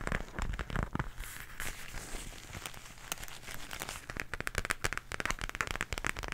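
Long nails scratch and tap the surface of an empty, small pink floral zippered makeup pouch of coated fabric or vinyl, held upright close to the microphone. Soft crinkly scratching gives way to rapid, sharp, dry taps with very little ring, growing denser and louder toward the end.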